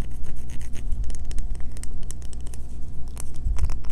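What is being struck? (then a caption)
Bar of soap. Long fingernails scratch rapidly at a solid green bar of soap held in both hands, shaving bits of soap that fall onto a table. The result is a quick run of crisp, dry scratches and taps, with bright clicks over a steady low hum.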